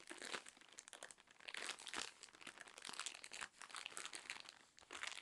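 A full, soft cylindrical roll of cotton pads wrapped in thin plastic film is scratched and tapped along its wrapper with long nails. The film gives off a steady stream of dense, bright crinkling with sharp clicky taps and no low end.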